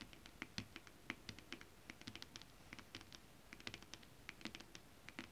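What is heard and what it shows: Long acrylic nails quickly scratch and tap a flat sheet of shiny holographic mermaid-scale printed stretch fabric with both hands. The result is a quiet, steady stream of crisp, dry clicks and bright scratchy rustles. Each tap dies away almost instantly.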